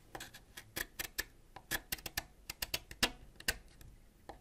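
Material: Wax.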